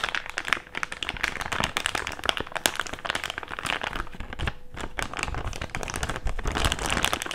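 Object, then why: Thick plastic bag. An empty, hand-sized thick clear plastic bag is opened, folded and crinkled with fingertips. Dense, continuous crackling fills the clip with many sharp, bright snaps that die away almost instantly, plus a soft low rustle underneath. The level rises and falls slightly as the bag is handled.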